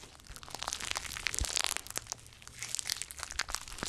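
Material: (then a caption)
Slime. A handful of soft, solid, pliable gold glitter slime is squeezed, folded and stretched between both bare hands over two pencil microphones. It makes a dense run of sticky, bright crackling and popping with quick, dry snaps that fade instantly, swelling louder through the middle of the clip.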